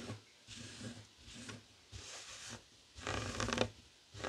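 Fingertips and short nails scratch across a flat, heart-shaped woven tapestry fabric coaster lying on a wooden table. Short bursts of dry, bright rustling scratches are separated by near-silent pauses. The longest, loudest and brightest pass comes near the end.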